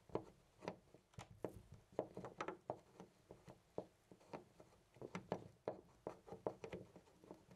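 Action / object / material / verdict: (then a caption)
shake / brass-finish door knob on a door / brass / none. A hand rapidly jiggles and rattles a loose, round brass-finish door knob on a white panel door. The result is a quick, uneven run of short, dry clicks and clacks, centred around 617 Hz, that die away almost instantly, with quiet gaps between bursts.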